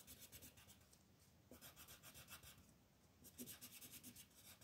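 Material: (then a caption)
Paper. A peach colored pencil is rubbed in short, rapid strokes across a flat white paper sheet with a mandala outline to color it. The result is a soft, steady, bright scratching and rasping, with a slight pause and a brief lull near the middle before the strokes pick up again.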